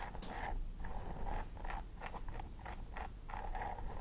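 A thin wooden stick scratches and picks along the scalp parting of a plastic doll head with synthetic hair, while the fingertips and nails of the other hand press and part the hair. Short, crisp, dry rasping strokes repeat in quick succession with a faint squeaky tone, over a steady low rumble.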